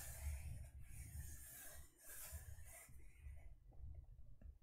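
A closed teal faux leather e-reader cover lies back side up on cloth while long nails scratch and rub its textured surface. The result is a soft, continuous rasping scrape with bright, airy hiss in the highs over a low, muffled rumble. Brief quiet dips break the scratching before it fades into faint ticks near the end.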